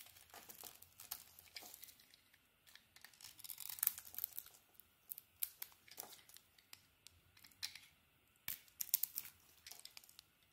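An oval bar of solid soap with a patterned purple coating and a green core is held in the hand and carved with a utility knife blade. Quiet, bright, crisp scraping and crackling cuts come in quick, irregular bursts with no ring after each stroke.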